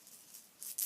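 A fur-covered plush cat toy ball with a little tail is shaken, and the rattle inside gives a faint, high-pitched rattle. Three quick bursts are heard, growing louder toward the end, each dying away almost at once.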